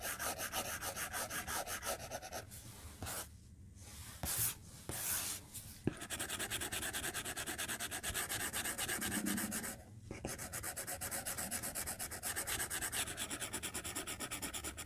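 A white plastic stylus tip makes rapid, short scratching strokes on a glass tablet touchscreen in a white case. The result is a dense, steady run of dry, bright scraping ticks. The strokes pause briefly around three to six seconds and again near ten seconds.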